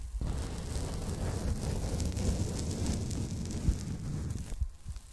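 A folded pink polyethylene foam packing bag is bent and handled with fingers and long nails, rubbing the foam. The result is a dense, steady rustling and crinkling with a deep, muffled body and a faint bright hiss on top. It holds for about four and a half seconds with a few slightly sharper rubs before fading out.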